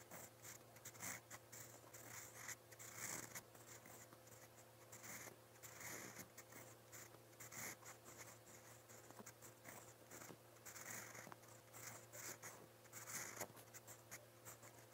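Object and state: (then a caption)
Pen nib writing on notebook paper. A silver steel fountain pen nib writes in brown ink across a lined white page of a spiral notebook. Its scratchy, bright strokes come in quick irregular bursts over a faint steady low hum.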